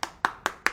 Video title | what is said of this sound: IPHONE 11 PRO MAX CUMA 1.3 JT??? KOK MURAH | diketok dibagian manapun dia bakal Suaranya kayak gitu